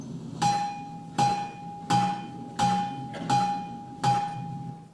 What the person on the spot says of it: 7-10 tons of basically granite. It sounds like this if you hit it with a small hammerstone.